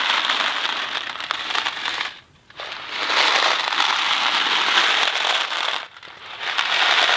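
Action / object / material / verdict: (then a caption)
shake / cardboard box holding dry pasta / dry pasta / none. A Kraft macaroni & cheese cardboard box with dry pasta inside is held in one hand and shaken while moving. The result is a dense, bright rattle of pasta against cardboard. It breaks off briefly twice, near 2.3 and 6 seconds, before resuming.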